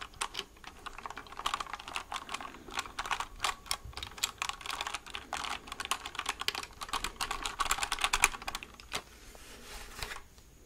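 A white plastic mechanical keyboard held near the mic is typed on with fingertips, producing a rapid, bright stream of short clicky keystrokes. The typing thins out near the end as the keyboard is tilted.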